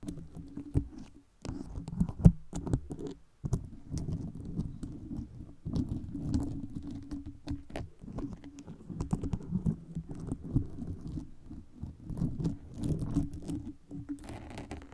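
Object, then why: Foam microphone cover studded with metal pins. Long red nails tap and scratch the round gold pin heads studded into a red foam microphone cover, and also scrape the foam itself. The result is a soft, dense patter of muffled clicks and scratchy rustles, mostly low-pitched with a faint hum-like tone underneath. Brief pauses and a few sharper taps break up the texture.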